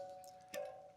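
Steel spokes on the first wheel of a 276-euro budget mountain bike, likely the rear, are plucked to check their tension. A steady, mid-pitched metallic ring is heard, then a sharp pluck adds a bright attack and the tone swells before fading over about half a second. The spokes sound even and well tensioned, so everything is fine.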